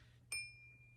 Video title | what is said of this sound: My Best Week Of The Year! $2400+ In Sales! Reseller Ship With Me What Sold On Postmark Huge Profits | one way that you can tell the difference between crystal and glass is the way it sounds when you tap it